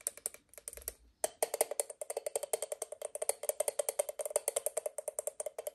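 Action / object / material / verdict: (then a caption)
tap / aluminium moka pot / aluminium / none. An assembled, empty octagonal aluminium moka pot, a hollow stovetop coffee maker, is held in hand and tapped with long painted nails on its faceted body and lid. Dozens of quick, light, dry clicks each carry a hollow metallic tone around 600 Hz with a bright tick and almost no ring. After a brief pause near the one-second mark, the tapping resumes in a denser, steady patter.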